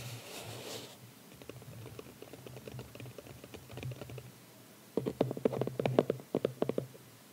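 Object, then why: Small closed cardboard box. A small, closed red cardboard gift box with a ribbon, lying on a towel, is tapped with the fingertips and short nails of both hands. A brief soft rustle opens the clip, followed by quiet, rapid, dry taps. After about five seconds, the tapping grows sharper and louder.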